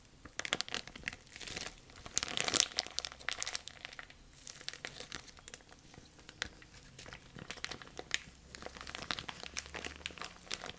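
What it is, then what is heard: Thin plastic bag crinkled. A thin, clear, empty plastic bag is scrunched tightly in both hands and crinkled with the fingertips. The result is a steady stream of dense, bright crackles and crinkles, with a louder burst near the start before settling into softer, continuous rustling.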